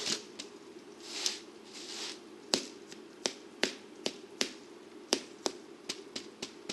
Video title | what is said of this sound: Ciabatta Rolls // How to // From The Garden To The Plate | if you give it a bit of a flick, you can hear a hollow sound and it just lets you know that they're cooked